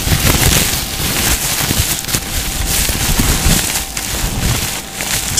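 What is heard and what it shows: A hand-sized, crumpled piece of thin, hollow, clear crinkly plastic packaging is held in both hands and squeezed and crinkled with the fingertips close to the microphone. It makes a steady, dense crackling and rustling that spreads from a low rumble up into bright, hissy highs, swelling and easing slightly without pausing.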